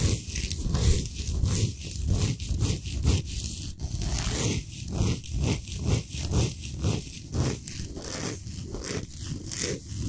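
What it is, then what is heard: Himalayan salt block being scratched. Long nails scratch the surface of a large, flat, solid pink Himalayan salt block at a slower pace. The strokes come in a steady, uneven rhythm, each a rough, gritty rasp with a heavy low rumble and a bright, hissy edge. Short pauses separate the strokes.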